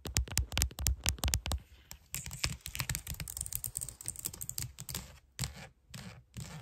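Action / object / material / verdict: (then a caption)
tap / plastic computer keyboard keys / plastic / none. Long nails type and tap quickly on the keys of a white plastic computer keyboard. A burst of loud, sharp clicks with deep thuds opens the clip, then gives way to a quieter, bright scratching texture dotted with lighter taps. The clip ends with a few short pauses between softer clicks.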